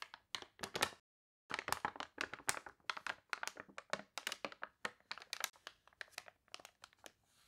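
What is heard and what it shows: Hands with long nails lift, turn and press flat the crinkly, water-warped glossy pages of an open paper toy catalog. A dense run of sharp, bright crinkles and crackles follows, with a brief silent pause near the one-second mark before the crinkling resumes.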